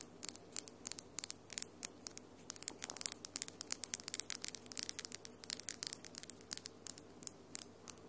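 Long, hard glitter acrylic nails tap quickly against each other, nail on nail, with the fingertips interlaced. Dozens of short, sharp, bright clicks come in fast, uneven bursts over a quiet, steady low hum, each click dying away almost instantly.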